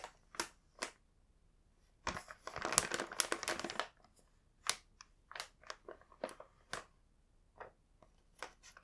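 Fingertips point at and rub the printed plastic on the back of a full Home Pie plastic snack bag. A few sharp crinkles open the clip, followed by a dense two-second stretch of bright rustling crinkling, then scattered crisp crinkles until the end. The sound is high and papery, with almost no low end and no ring after each crinkle.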